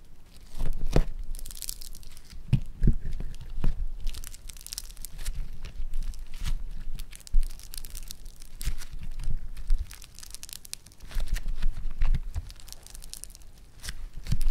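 A flat sheet of bright green floam foam-bead clay is pressed, gathered and pulled apart with fingertips. It gives dense, crunchy crackling and tearing sounds with bright crinkly pops over soft low thumps, rising and falling in bursts throughout.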